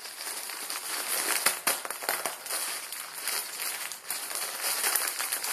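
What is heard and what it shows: A Maruchan instant ramen packet, plastic film around a dry noodle block, is twisted and crinkled with both hands and fingertips. The sound is a steady, bright, papery crinkle with sharp crackling snaps scattered throughout and almost no low end.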